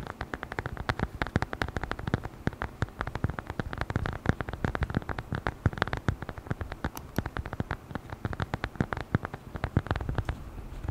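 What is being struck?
Leather-covered notebook cover.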